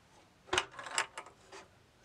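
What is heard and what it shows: A hand tilts a bamboo wooden labyrinth maze game, sending the steel ball near the top wall rolling and ticking against the wooden partitions. Four short, bright clicks stand out over a faint rolling rumble, each dying away almost at once.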